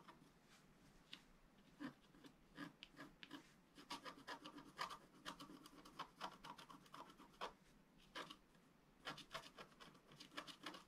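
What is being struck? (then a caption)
Wax-coated scratch-art paper scratched with a wooden stylus. A pointed wooden stylus scratches lines across the right side of a thin, black, wax-coated scratch-art paper sheet lying flat on a table. Short, dry, rasping strokes follow one another at an irregular pace, each a quick bright scrape with almost no ring. The strokes come in clusters separated by brief quiet gaps.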